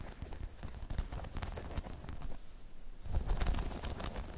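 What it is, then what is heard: Spiky rubber balance pod. Long chrome nails scratch and tap a hollow, dome-shaped spiky rubber balance pod, giving a dense run of soft, low thumps mixed with bright, crisp scratchy ticks. The sound eases briefly in the middle, then the tapping returns a little louder and fuller.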